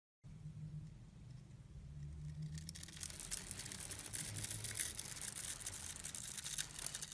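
A utility blade scrapes a grid into a solid, hand-sized bar of purple and pink striped soap held in the palm, then shaves small cubes off it. The sound is a quiet, steady run of dense, bright scratching and crisp shaving over a low hum, growing louder and brighter after the first few seconds.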